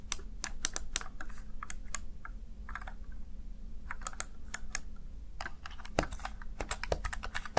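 Fingertips tap and press the keys of a small black plastic backlit Razer Tartarus Chroma gaming keypad, making a quick run of sharp, bright plastic clicks. A faint steady low hum sits underneath, and a brief pause near the middle is followed by a denser burst of keystrokes.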